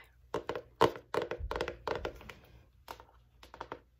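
Long nails tap and scratch the cover of a large spiral-bound notebook with a solid, flat striped navy-and-white cardboard hardcover marked "INSPIRE". Irregular clusters of short, dry taps with a mid-range thunk and bright clicky edges die away almost instantly, mixed with brief scratchy rustles between them.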